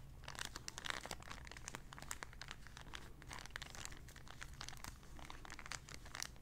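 A small, empty, clear plastic zip-lock bag is folded and crinkled between the fingers. It gives off a quiet, continuous run of sharp, bright crackles and crinkles over a steady low hum.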